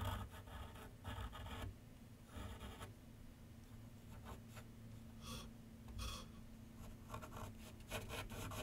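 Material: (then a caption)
Paper. A pencil tip makes light strokes across a large white sheet of paper mounted on a board on a wooden easel with solid backing. Soft, scratchy bursts of rubbing come and go over a faint, steady low hum, and the whole clip stays quiet.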